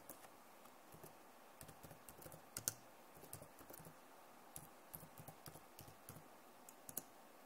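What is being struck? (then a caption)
Plastic laptop keyboard. Fingers type and tap on the keys of a backlit plastic laptop keyboard. Soft, bright clicks come in quick, irregular bursts over a low, steady hiss, with one or two sharper taps standing out. Each click dies away almost instantly.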